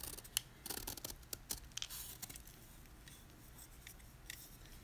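A utility knife blade scrapes the surface of a solid white gym chalk block (magnesium carbonate) held in hand, carving away layered flakes. Sharp, bright crunchy scrapes and clicks come in quick bursts over the first two and a half seconds. They then fade to a quieter, steady gritty scraping with a few faint crisp ticks.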